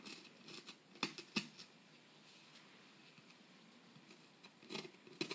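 A metal pick tool held in the fingers scrapes and chips at the surface of a solid plaster dig-kit block, with plaster dust collecting around the tip. Quiet, dry, bright scratches and sharp little clicks come in irregular bursts near the start and again near the end, with a faint hiss in between.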